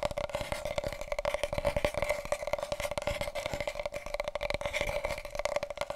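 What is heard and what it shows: Fingertips and nails rapidly tap and scratch on a wide, hollow, empty cardboard paper roll tube held diagonally. The dense, quick strikes ring with a steady hollow tone around 590 Hz, overlaid with dry scratchy texture.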